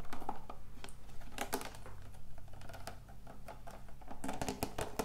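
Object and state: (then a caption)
Plastic water bottle. Long acrylic nails tap quickly on the label and body of a large clear plastic water bottle with a blue and purple label, holding water. The result is a dense run of short, dry clicks and ticks that fade almost instantly, over a faint steady low hum.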